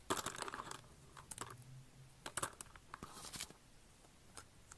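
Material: Soap.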